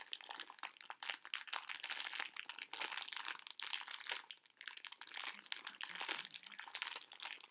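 A medium pink printed plastic-film bag of conversation hearts, full of small hard sugar candy hearts, is held in both hands with long painted nails and squeezed and crinkled while the candies shift inside. The result is a dense, bright, crackly crinkling with many quick overlapping snaps and almost no low end, rising and falling in bursts throughout.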